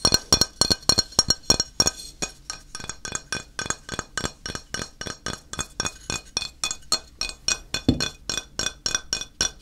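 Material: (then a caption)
Stone. A medium square grey stone or porcelain floor tile, flat and solid, is held tilted in one hand while the fingertips and nails of the other hand tap and scratch it. Quick, bright clicky taps with a glassy clink ring briefly and die almost at once. They come in a fast, uneven run, with a denser flurry at the start and a single heavier knock near the end.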